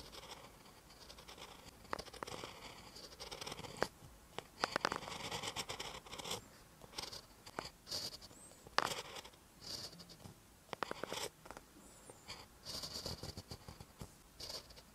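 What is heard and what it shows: A ballpoint pen tip writes on a lined paper notebook page, making quiet, bright scratching strokes in short bursts with brief pauses between them. Occasional sharp ticks stand out as the pen strokes the paper.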